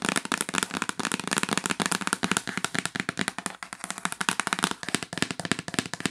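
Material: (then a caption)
Cardboard. Long nails tap rapidly near the top edge of the lid of a hollow yellow L'Occitane cardboard box lying flat on a bed. Several dozen quick, sharp, dry taps come in an uneven run, each bright and clicky with a hollow, papery body and almost no ring.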